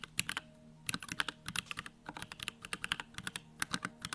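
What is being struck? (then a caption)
Mechanical keyboard with plastic case and plastic keycaps. Fingertips type rapidly on a small 65% Bakeneko65 mechanical keyboard with Durock Lavender switches, a plastic case, white plastic keycaps and the backlight on. A quick, uneven run of sharp, bright plastic clacks decays almost instantly, over a faint steady low hum.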